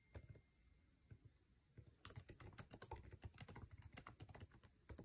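Fingertips of both hands type fast on the backlit, low-profile scissor-switch keyboard of an aluminum MacBook Air resting on a table, tapping its plastic keycaps. A few scattered taps open the clip before it turns into a dense, rapid run of short, clicky keystrokes with a soft low thud and a bright click on each press.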